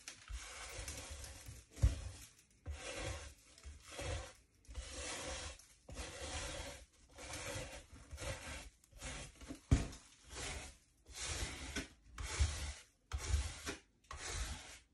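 A dry, mud-caked Nike Air Max 95 sneaker of synthetic mesh, leather and rubber, hollow and empty, is held on its side on a wooden table and scrubbed with a wooden-handled bristle brush. Repeated raspy scratching strokes come in separate bursts, with a low rumbling body and a bright hissy top. Dirt rubs off and falls onto the table.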